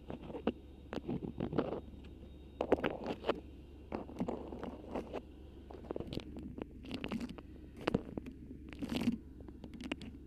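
A cream beeswax-coated cotton food wrap with a black print, formed over a microphone, is scratched and squeezed with long pink acrylic nails and fingertips. Close, crinkly crackles and sharp waxy crunches come in uneven bursts, some reaching bright highs, over a steady low hum.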